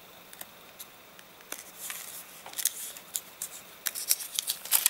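Fingers pinch, crumple and flip the crinkled pages of an open, rain-dried paper catalogue. Quiet, bright crackles and sharp paper snaps come with short papery rustles, with no low end. The crinkling grows denser and louder toward the end.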